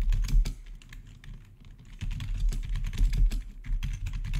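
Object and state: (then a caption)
Plastic keyboard being typed on. Fingertips rapidly tap the keys of a black plastic RGB backlit gaming keyboard with a hollow housing. The typing is a quick run of short, dull clicks heavy in the low end, easing into lighter taps before picking back up to a steady, louder patter.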